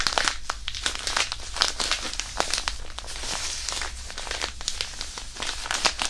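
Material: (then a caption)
Thin plastic. A small white crinkly hand warmer wrapper, apparently thin plastic, is crumpled, squeezed and rubbed with the fingers of both hands above the microphone. It makes a dense run of bright, sharp crackles and crinkles over a steady low hum. The crackles come in irregular bursts with no real ring-out.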